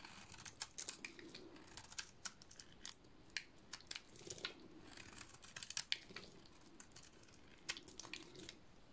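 A metal blade shaves a dry, solid cream soap bar with a black painted coating, sending flakes falling. The clip is a quiet run of crisp, bright scraping cuts and sharp clicks in irregular bursts, each very short with almost no ring, over a faint rustle of falling flakes.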